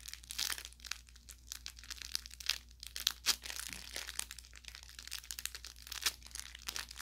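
A soft-stuffed orange velour fabric carrot toy with crinkle filling is squeezed and pressed by a thumb at its stitched tip section. This produces a continuous stream of bright, crackling crinkles and small pops with very little low end.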